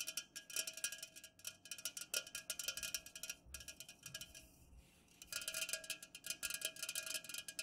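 An unopened, full 330 ml white Pepsi-Cola aluminum can stands upright on a fuzzy cloth while long nails of both hands fast-tap its sides. Dense bursts of quick, bright, high clicking taps come with little ring. A quieter hissy stretch sits in the middle before the rapid tapping resumes.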